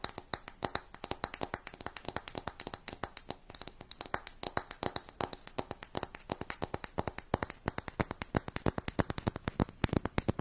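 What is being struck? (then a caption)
Round makeup compact with plastic lid and metal band. Long nails rapidly tap and scratch the lid and gold metal rim of a closed round makeup compact with a brown textured lid. The result is a steady stream of dozens of quick, dry clicks with a bright edge and almost no ring, over a faint scratchy hiss.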